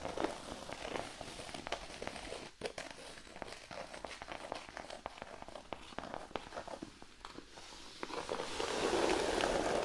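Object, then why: Thin cork sheet. Fingernails scratch across a large, flat, thin cork sheet resting on a blanket, first along the edges and then with one hand. Quick, dry, crackly strokes come in a loose, fairly fast rhythm. In the last couple of seconds they merge into a louder, denser, brighter rasp.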